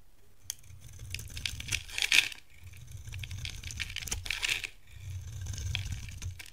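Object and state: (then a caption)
Dry soap bar being scraped. A solid, hand-sized yellow Palmolive bar of dry soap is held in the hand and shaved and scraped with a metal box-cutter blade, curls falling off. Bright, crisp scraping and crinkly shaving strokes come in several rasping passes over a soft low rumble.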